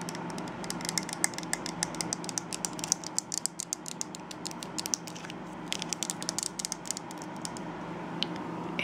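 Long nails tap and scratch the side of a tall, light-blue glossy plastic conditioner bottle, fill level not visible. The result is a dense run of sharp, bright clicks with very short decay, layered over light scratching and a steady low hum.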